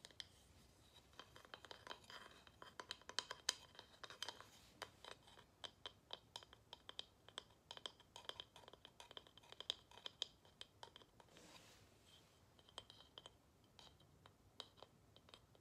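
Long nails tap and scratch across the carved face and edge of a small, flat, solid wooden tile held in the hands. Dozens of quiet, dry, bright clicks with no ring come in an uneven rhythm, with a faint ping near 3 kHz, over soft scratchy rasps. One longer scrape is heard near the end.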